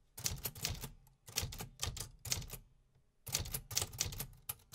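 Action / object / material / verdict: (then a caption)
tap / metal keys of a manual typewriter / metal / none. Fingertips type on the metal keys of a vintage 1950s manual typewriter, producing quick runs of sharp, bright clacks over a low mechanical thud. The keystrokes come in bursts separated by brief pauses near the one-second and three-second marks.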